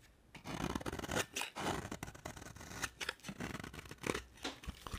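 A utility knife blade carves a solid purple marbled bar of dry soap into flakes. Repeated dry, crisp scraping and shaving strokes rasp across a broad, bright band, each short cut closely following the last.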